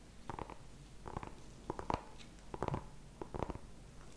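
Fingertips and nails tap and scratch the skin of a small whole orange pumpkin with a stem, held in the hands. Short, dull, hollow knocks with a midrange tone come in irregular clusters over a quiet scratchy rustle, each tap dying away almost instantly.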